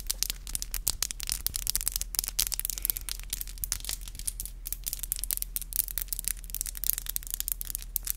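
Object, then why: Acrylic fingernails. Long black acrylic nails are tapped and rubbed against each other, nail on nail, close to the microphone. Rapid, sharp, bright clicks come in dense flurries over soft scratchy rubbing, with a steady low hum underneath throughout.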